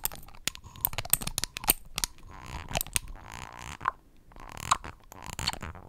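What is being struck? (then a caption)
Paper card cutout of a dropper bottle, flicked with fingernails. Long acrylic nails pinch and flick the paper dropper cap of a flat orange paper/card cutout of a foundation dropper bottle. A quick series of sharp, dry clicks and taps rises over a soft, bright papery rustle, each click dying away almost instantly.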